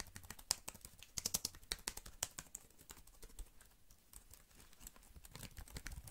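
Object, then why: Plastic computer keyboard. Fingertips type and tap quickly on the keys of a slim black plastic computer keyboard held in front of the face and off to the side. The result is a rapid, uneven stream of short, crisp, bright clicks with quiet, dull low taps underneath and no ring after each keystroke.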